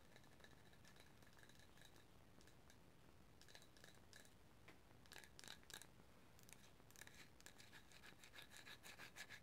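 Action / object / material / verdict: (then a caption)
scrape / small wooden or bamboo cup / wood / none. Long matte green nails tap and scratch the outside of a small, hollow, empty bamboo or wooden cup held in the hands. Quiet, bright, scratchy rubbing is broken by short tapping bursts with a faint hollow ring near 1.7 kHz and a higher tone. The taps grow denser and slightly louder toward the end.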